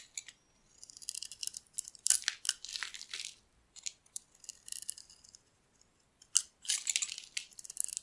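A metal utility blade scrapes and carves white curls of soap off one face of a solid, palm-sized, dark green bar of dry soap held in one hand. The sound is a series of crisp, bright scraping and shaving bursts with short pauses between strokes, and it has almost no low end.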